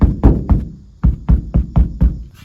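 Eight taps on the roof headliner of a Kia Morning city car, over a spot backed by a steel roof reinforcement frame, where a second-row center dome light is being fitted. Each tap gives a short, deep, solid thud that dies away quickly, a steel-plate sound unlike the hollower areas nearby. This marks the spot as unsuitable: the light has to be installed away from such frames.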